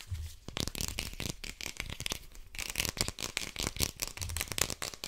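Fingernails quickly scratch and tap along the sides of a small, hollow white plastic cosmetic or deodorant bottle with a red cap and a paper-like label. The result is a dense, rapid run of dry, bright scratching rasps and crisp clicks with no ring, plus a faint low rumble near the start and again near the end.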